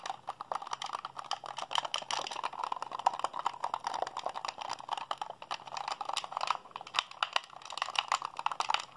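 Fingertips and thumbs rapidly mash the buttons of a hollow white plastic Xbox handheld controller held in both hands. A dense, steady stream of dry plastic clicks and clacks centers around 900 Hz with bright edges. Each click stops almost instantly, with no ring.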